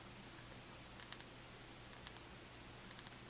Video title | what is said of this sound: Hanging out w great sounds! ASMR softly spoken and nail tapping | It's like a really hard plastic. It's good for tapping sounds.